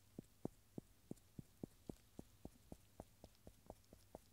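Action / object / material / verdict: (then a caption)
tap / agglomerated cork stopper / cork / none. A round, solid agglomerated cork stopper, held in gloved fingers, is tapped and rubbed with the rubber eraser end of a yellow wooden pencil. About sixteen soft, dull, low-pitched knocks come at a steady pace with almost no ring, over a faint low hum.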